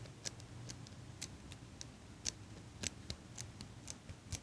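A small chrome metal eyelash curler is held sideways beside the mic while fingers and nails squeeze and click its metal handles. The result is a steady series of short, crisp, bright metallic clicks that stop instantly with no ring, heard over a quiet low rumble.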